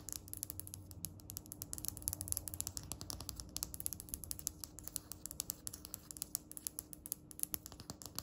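Long red nails tap rapidly on a flat, solid, speckled grey polished stone countertop. The result is a dense run of sharp, bright, dry clicks with almost no ring, over a faint, steady low hum.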